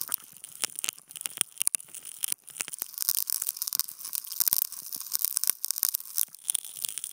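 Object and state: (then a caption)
Non-woven fabric sheet being scratched. Wooden toothpicks held in clip contact mics poke and scratch a flat white non-woven fabric sheet. The result is a dense run of dry, bright scratches, crackles and sharp clicks with almost nothing in the low end, each stroke stopping short with no ring.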